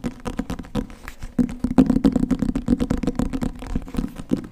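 Fast fingertip and nail tapping on the cover and spine of a solid green hardcover book with gold lettering, held in front of the microphone. About 26 short, dry taps come in a quick, uneven rhythm, each a dull low-mid knock around 260 Hz with a faint papery click that dies away almost at once.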